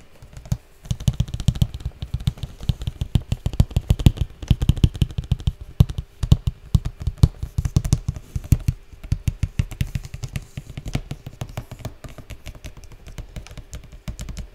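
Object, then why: Printed cardboard toy box. A large, flat, printed cardboard slime kit box, closed and appearing full, is held in both hands and tapped with the fingertips on its lid and sides. The result is a fast, continuous patter of dull, low, hollow thuds with soft clicks that stop dead with no ring.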